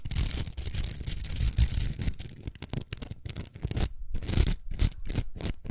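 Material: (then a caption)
Plastic. A large hollow pink plastic hair roller covered in velcro hooks is held in the hands and scratched and tapped with long acrylic nails. A dense, continuous scratchy rasp with a deep low rumble gives way to separate, sharper bursts of tapping and scratching with short gaps between them.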